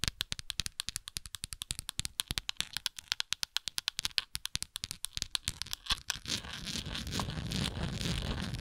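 Long nails scratch the textured side of a hollow, translucent plastic Tums tablet bottle with tablets visible inside. For about six seconds, a rapid run of sharp, bright clicks and scratches sounds, then the noise blurs into a continuous, hissy scraping that stays bright and crackly to the end.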